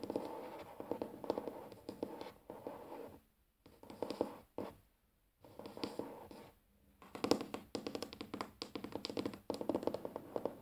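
Fingers tap on a wooden table, mixed with scratching on its surface, in a steady run of soft, dull midrange knocks. The rapid taps come in bursts, broken by a few brief silent pauses.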